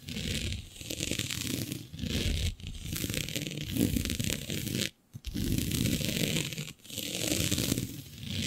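Long nails scratch a flat sheet of black synthetic stretch fabric with a shiny dotted pattern. The result is a dense, continuous rasping scrape with a bright hiss over a rough low rumble, broken by brief pauses near 2.5, 5 and 6.8 seconds.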